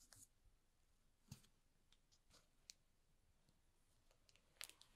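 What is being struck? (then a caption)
Cardboard box in plastic film. Fingertips rub and grip a small, hollow cardboard box wrapped in plastic film, making quiet, bright crinkles. Short, sharp plastic snaps stand out over a soft, steady rustle.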